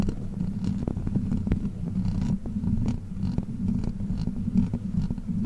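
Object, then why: Metal mesh microphone grille scratched with plastic nails. Long black plastic witch-finger claw extensions worn on the fingers scratch and tap the hollow metal mesh grille of a large silver Blue Yeti-style microphone. The result is a steady, dense, low rumbling scrape centered around 230 Hz, with quick faint clicks and brief ticks scattered throughout.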